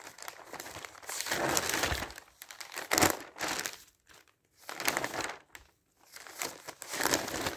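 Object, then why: Newsprint paper pages. Thin newsprint newspaper pages are flipped and handled by hand, giving bright crumpling and rustling in several bursts separated by brief pauses, with one sharper crackle near the middle.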